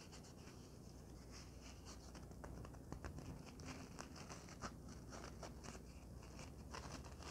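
A folded white polyethylene foam packing sheet is tapped and scratched with long nails and fingertips, giving soft, quiet scratching and light tapping over a steady low hum. Scattered bright scrapes and small taps come in quick succession throughout, with no loud impacts.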